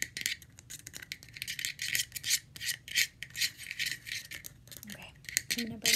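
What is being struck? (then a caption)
Plastic screw lid. Long red-painted fingernails scratch and tap the ridged side of a round, hollow, light blue plastic screw lid taken off its jar. The result is a steady run of bright, crisp scratching rasps and quick clicking taps, almost all high-pitched, with no ring after each stroke.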